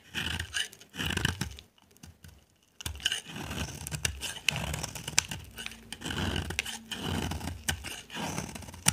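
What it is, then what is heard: Dry soap bar being carved. A dry, solid white rounded bar of soap held in the hand is carved with a utility knife blade, scraping off dry, crumbly flakes. Repeated bright, crackly scrape-and-scratch strokes come in bursts with a soft low rasp underneath, broken by a brief near-silent pause around the second second before the steady carving resumes.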